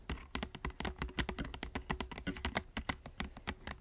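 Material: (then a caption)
Plastic. Fingertips tap rapidly on the clear plastic blister of a small Transformers toy package with a printed card backing, lying on a wooden table. About 28 quick, dry taps follow one another, each a short bright click over a soft low thud, with almost no ring between them.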